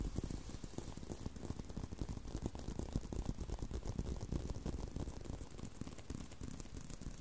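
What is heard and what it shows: Fingertips and nails scratch and tap on a solid brown leather belt strap with holes. The result is a steady stream of quick, muffled, low-pitched taps and soft scratching over about seven seconds.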